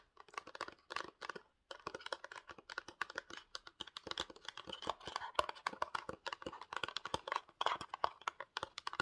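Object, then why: Small printed cardboard box. Fingertips and short nails tap and scratch a small rectangular printed cardboard Pantene box, likely with the bottle inside. Rapid, dry clicking taps mix with papery scratching, with a brief pause early on. The sound is crisp and mid-pitched with no ring after each tap.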